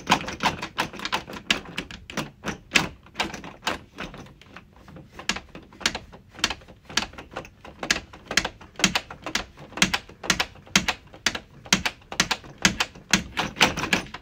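A hand grips a round, hollow, brushed stainless steel door knob on a white interior door, tapping and scratching it with dark-painted nails while turning and rattling it. About 49 quick, bright metallic clicks come at an uneven pace, each dying away almost at once, with faint scratching in between.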